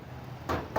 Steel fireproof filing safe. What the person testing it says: Malalaman niyo po ang fireproof pag kinatok niyo po ganyan. Yan po, parang semento. Oo nga, no? Tigas.